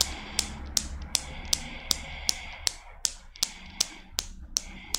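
A small chrome steel Newton's cradle with five solid steel balls, set in motion by long black nails, knocks out a steady series of 13 sharp, bright clicks at about two and a half per second. Each click is very short with almost no ring, over a faint low hum.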